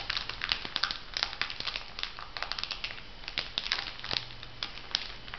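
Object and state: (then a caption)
Foil face mask packet. A filled, flat printed foil sheet-mask packet is bent and crinkled by hands, making a steady run of dense, bright crinkling and crackling with many sharp, short-lived peaks. A faint low hum sits underneath throughout.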